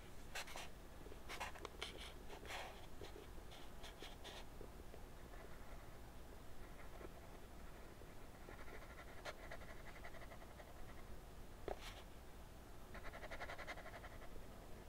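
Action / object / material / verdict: scrape / colored pencil on drawing paper / paper / none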